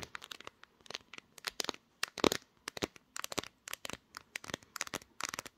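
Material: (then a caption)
Glass. Long nails tap and scratch the glass back panel and camera bump of a pink smartphone, which is also the recording device. Quick bursts of sharp, dry clicks and crisp scratches come in irregular clusters with short pauses between them. Each tap stops at once with no ring.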